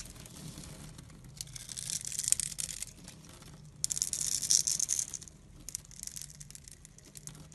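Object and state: Glycerin soap bar being carved.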